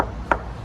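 A single knock on the hollow carbon fiber frame underneath a 2023 McLaren Artura gives a short, bright, hollow tap centered near 950 Hz that dies away almost at once. A low hum runs steadily underneath it.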